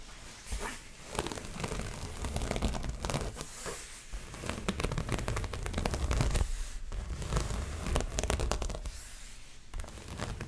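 Long fingernails on both hands scratch and tap the taut front of a stretched canvas dreamcatcher print on its frame, held close to the microphone. Dense, uneven bursts of dry scratching mix with quick taps, giving a bright rasp over a low, drum-like thump from the canvas.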